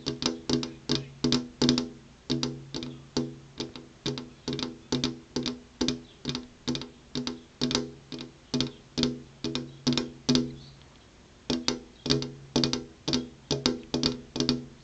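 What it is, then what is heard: Glass window pane. Long purple-painted fingernails tap on a flat glass window pane with an insect screen behind it. The taps are quick, uneven and bright-edged, each with a short low ring, and there is a brief pause near the end before the tapping resumes.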